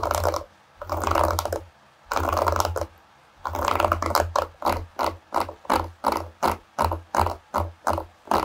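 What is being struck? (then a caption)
Wooden hairbrush with wooden pins. Long fingernails flick the wooden pins and tap and scratch the solid wooden back of a bamboo or wood paddle hairbrush. A few long, rustling scratchy bursts with a low undertone give way to a quicker run of short, crisp clicking strokes separated by brief pauses.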